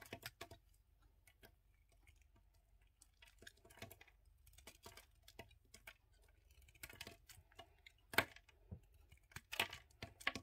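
A yellow utility knife blade scrapes and carves along the edges of a solid red-and-white bar of soap held in the hand, shaving off flakes. The sound is quiet, irregular crisp scrapes and short bright clicks with very little low end, each dying away almost instantly, with a louder cut near the eight-second mark.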